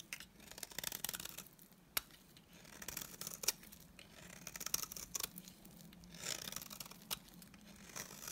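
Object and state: Bar of soap scraped with a blade.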